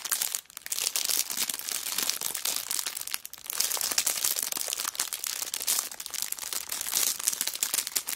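Palms and long black nails rub and scratch the clear cellophane wrapper of a kraft paper notebook lying flat on a rug. A dense, bright crinkling with sharp, crackling scratches runs almost continuously, easing briefly near half a second and again just after three seconds before picking back up.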